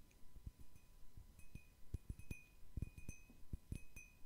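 A medium-sized, round cut-crystal glass bowl, hollow and empty, is held in one hand and tapped with fingernails. Eleven soft, irregularly spaced taps sound, each with a dull low knock and a faint, brief high glassy ring.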